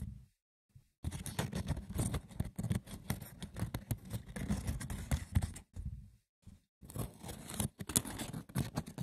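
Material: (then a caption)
Wicker. A wicker basket's textured woven surface is scratched roughly and tapped, giving dense bursts of dry, crackly scraping with a low, thumping body and brief quiet gaps between runs.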